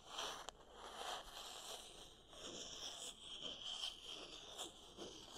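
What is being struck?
Wooden paddle hair brush with wooden pins.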